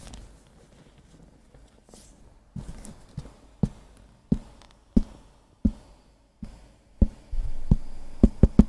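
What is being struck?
Thick hardcover book with cardboard cover.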